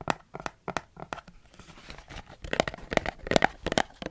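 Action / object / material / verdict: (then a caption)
tap / plastic spray bottle / plastic / none. A large, dark, hollow plastic spray bottle with a trigger pump, partly filled with perfume, is held in the hand beside the microphone and tapped and gripped with the fingertips. A quick, uneven series of dry, crisp plastic taps and crinkly gripping sounds centers in the midrange and dies away instantly with no ring.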